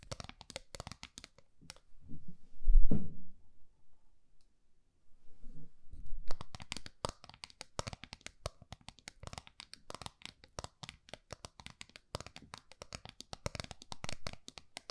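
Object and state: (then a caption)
Small round metal tin. Long fingernails tap and scratch the face and rim of a small, flat, round gold-colored metal tin held in both hands, making rapid, crisp, bright clicks and scrapes. Around the middle the tapping pauses for a few seconds, leaving soft low rustling and handling thumps before the dense clicking resumes until the end.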